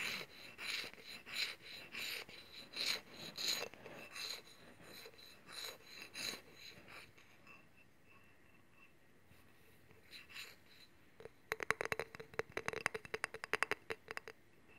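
Fingernails scratch along the ridges of a long, solid steel honing rod with a metal handle, held horizontally. Bright, raspy strokes repeat for the first several seconds, then fade into near silence. A burst of quick, sharp ticking scrapes follows near the end.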